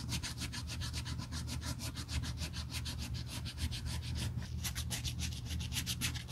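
Gloved hands hold the black grained leather handle of a Burberry tote, a solid flat strap, while its frayed edge is sanded with a small piece of red sandpaper in repeated rubbing strokes. Each stroke makes a quick, bright, rasping scratch in a steady rhythm over a constant low hum.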